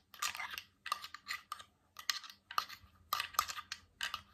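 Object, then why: Glass water bottle with metal cap. Fingertips, nails and metal rings tap and scratch along a clear, empty, hollow cylindrical glass water bottle with a metal screw cap and water droplets inside, held horizontally. Quick bursts of bright clicking taps and scrapes come in clusters, with a faint glassy ring near 1.2 kHz that dies away almost at once.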